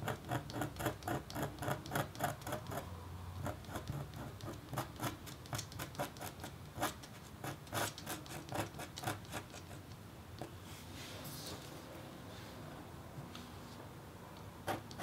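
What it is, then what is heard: Copper-foil scratch-art board. A red-handled metal stylus gently scratches lines into a flat, thin, black-coated copper-foil scratch-art board. Quick, dry scratchy strokes come in a fast, uneven patter for the first half. They then thin out into a softer, steady rasp, with a last sharp stroke at the end.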